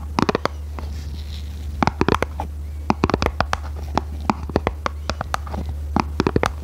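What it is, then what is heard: Printed cardboard box, tapped and scratched. Long red nails tap and scratch the surface of a small red printed cardboard box, making a quick, uneven series of sharp, dry clicks with brief scratchy strokes. A steady low hum runs underneath the whole time.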